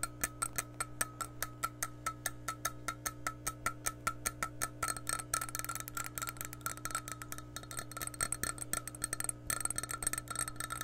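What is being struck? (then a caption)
Glass measuring cup. Long nails tap the rim and handle of an empty, clear glass measuring cup, giving short, bright, ringing chimes over a steady low hum. The taps start slow and evenly spaced, then turn faster and denser after about five seconds, with a brief pause near the end.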